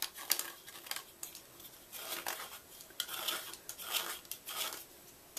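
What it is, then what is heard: Gym chalk block scraped with a knife. A red-handled knife scratches and scrapes the inner walls of a white gym chalk block as it is hollowed out. The result is a run of bright, gritty scrapes and sharp little ticks with almost no low end, each sound cutting off quickly.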